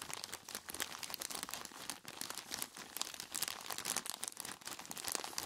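Gloved hands squeeze and knead a large clear plastic bag full of ice cubes, tied at the top. The plastic crinkles densely and the ice crunches and shifts inside, giving a steady, bright, textured rustle with many short crackles.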